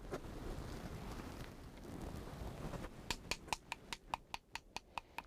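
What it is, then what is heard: Fully dried ink stick. A fully dried ink stick made of soot and glue is tapped, giving a quick run of about eleven clear, hollow knocks like a wooden temple block, each ringing briefly near 900 Hz. The knocks follow nearly three seconds of low background rumble. The clear tone marks the ink as well made.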